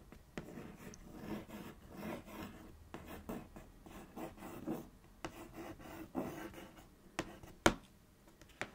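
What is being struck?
Cardboard cereal box.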